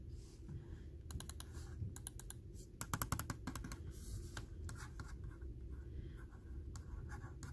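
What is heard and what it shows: Fingertips and short nails tap, scratch and click on the hollow plastic shell and buttons of a small red and black Logitech computer mouse resting on a mouse pad. Quick, dry clicks and taps come in scattered bursts over a soft scratching rustle and a steady low rumble, with the sharpest cluster of clicks near the middle.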